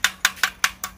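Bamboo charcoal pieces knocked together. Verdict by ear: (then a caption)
Hard. Pieces of baked bamboo charcoal are knocked together five times, each giving a short, bright, metallic clink around 1.5 kHz that dies away almost at once. The hard ring, like metal or nails, shows the charcoal is well baked and hard, baked rather than burned.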